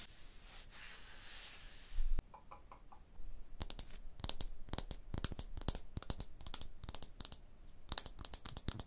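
Long blue-painted nails and fingertips scratch and tap on a large, solid tooled limestone block wall with chisel striations. A steady, bright scratching hiss runs for about two seconds and ends in a brief louder thump, then after a quiet pause come rapid, dry, sharp taps and clicks with almost no ring.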